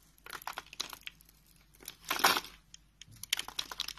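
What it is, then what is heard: Bar soap being carved. A utility knife blade scrapes and carves a solid dark brown rectangular bar of soap held in the hand, lifting small flakes. Crisp, bright scraping and crinkling strokes come in quick bursts, with a longer, louder scrape in the middle. Brief quiet gaps separate the bursts.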